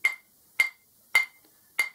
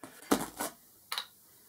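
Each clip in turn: First: uncracked grinding wheel (rings true). Second: cracked grinding wheel (dull in ring test).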